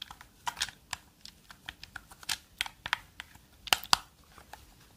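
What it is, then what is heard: Plastic game controller. Long dark fingernails tap and click the buttons and shell of a black and yellow hollow plastic gamepad held close. About fourteen quick, dry, bright clicks and taps come in an uneven rhythm, each stopping at once with no ring, over a quiet background.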